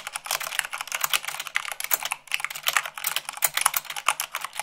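Long pink nails and fingertips type fast, around 98 words per minute, on a full-size mechanical keyboard with white plastic keycaps on a black frame. The result is a rapid, steady stream of bright, dry plastic clicks and clacks with almost no low end.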